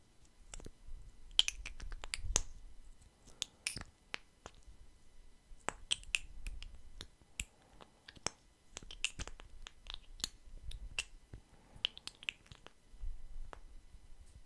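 Fingers twist and click the pink plastic cap on and off a small clear plastic lip gloss tube that is partly full of gloss. A quiet series of sharp, bright, very short clicks and snaps rises over a soft low rumble of handling and twisting friction.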